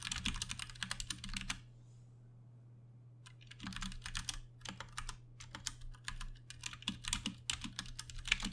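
Fingertips of both hands tap rapidly on a Ducky One 2 Mini, a compact 60% mechanical keyboard with plastic keycaps, Cherry MX Brown switches and RGB backlighting, sitting on a desk. Bursts of sharp, bright plastic clacks pause for about a second and a half, then resume in irregular typing runs over a steady low hum.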